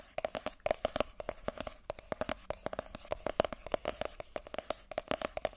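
Long nails rapidly tap and scratch the glossy printed top of a small white cardboard iPhone box held in both hands. The result is a dense, uneven stream of sharp, dry clicks, each with a brief hollow tone around 620 Hz and a bright edge. A faint scratchy rustle fills the gaps between the taps.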